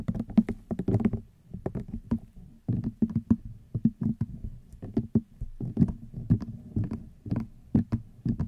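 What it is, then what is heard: Rattan wicker basket. Long nails tap rapidly on a hollow, cylindrical woven rattan wicker basket. The result is a steady, irregular patter of short, dry, woody taps with a dull low-mid body and almost no ring, some strokes landing harder and brighter than others.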